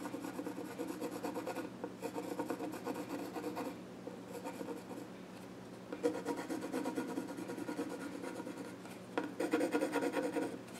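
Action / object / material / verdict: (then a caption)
scrape / wooden child's stool top with pencil / wood / none. A pencil scratches sketch lines across the flat top of a small wooden child's stool. Dry, raspy scratching comes in bursts of back-and-forth strokes separated by short, quieter pauses, with a soft papery hiss over a warm midrange tone.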